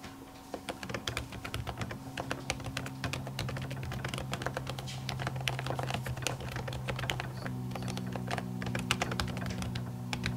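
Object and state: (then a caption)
Laptop keyboard with silicone cover. Long natural nails type quickly on the plastic keys of an aluminium laptop keyboard covered by a printed silicone skin. The result is a steady run of short, dry, bright clicks and soft taps with almost no ring, over a constant low hum.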